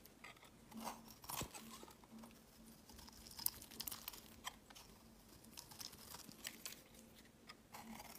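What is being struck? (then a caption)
Bar of soap scraped with a knife blade. A solid white bar of soap is scraped and shaved with a utility knife blade, making flaky shavings. The sound is a steady run of soft, dry, crisp scrapes and crunches, bright and airy with little low end, and a few sharper cuts stand out.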